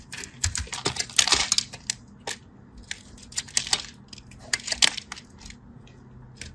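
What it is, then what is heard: Bar soap being cut. A craft knife scratches and cuts into a solid orange-and-white striped bar of soap, and chips fall off. The result is a run of crisp, bright, dry scraping clicks and crackles, each very short with almost no ring, some bunched into brief rough bursts.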